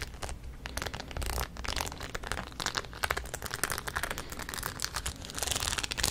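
The crown of a rhinestone-studded denim cap is held close to the microphone and scratched with long nails across the studs. The result is a dense, crinkly scratching full of quick, bright clicks and ticks over a faint low rumble. The scratching rises into sharper bursts toward the end.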